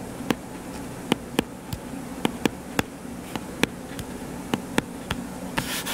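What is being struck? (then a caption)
Paperback book with card cover. Fingernails scratch and rub the cover of a solid, purple-covered paperback book lying flat. Sharp, bright clicks, about fifteen of them, stand out over a steady low hiss. A rougher, brighter rubbing swells up at the very end.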